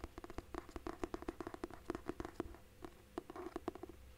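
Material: Cloth and paper.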